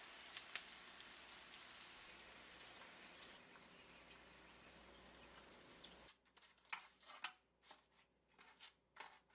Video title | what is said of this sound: Crispiest Baked Buffalo Wings - AnitaCooks.com | It's like a crispy glass sheet on top of the wings.